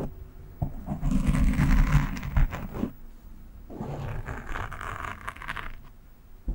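A fingernail scratches the top and sides of a black foam windscreen on a microphone, using one hand. A loud burst of dense, rumbling scraping with a soft bright hiss is followed by a brief lull, then a second, quieter stretch of rapid scratching before it fades.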